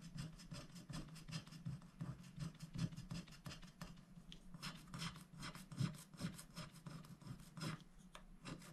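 A wooden stylus scratches the leaves of a flower shape on a black-coated scratch-art paper sticker sheet held flat by one hand. Continuous, quiet rasping strokes come in quick, uneven bursts, with bright scratchy hiss over a steady low hum.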